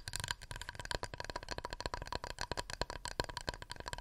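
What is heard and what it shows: A wooden plate is tapped rapidly with the nails, making a steady run of short, dry clicks with almost no ring. Each tap has a tonal knock near 970 Hz over a low thud and a bright, clicky top.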